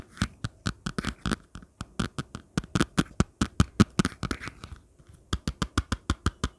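Long nails scratch and flick along the fine ribbed surface and edge of a thin, flat orange plastic folder cover, giving about thirty short, dry clicking taps. The taps come in a quick run, pause briefly, then resume as a steady, evenly spaced series. Each tick is crisp with almost no ring.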